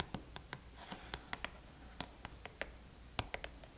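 Fingernails tap and scratch the lid of a small red cardboard gift box lying flat. About fourteen short, dry, quiet clicks sound at irregular intervals, with a brief soft scratch between them, and each tap dies away almost at once.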